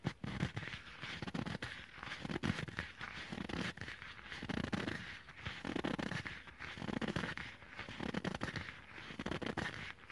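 A small dark leather bag with a yellow "Mibia" logo is squeezed, crinkled and scratched with short nails and fingertips close to the microphone. Dense crackling and rustling bursts repeat throughout, with soft low rumbling between the sharper scratches.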